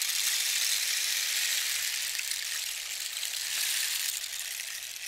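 A long, hollow rain stick made from a dried cactus skeleton, about 60 cm, with a red band and yellow cords, is held in both hands and slowly tilted so its filling, likely small pebbles or seeds, trickles and rattles inside. The result is a steady, bright, hissing patter like falling rain, with almost no low end, holding for the whole clip before easing slightly at the end.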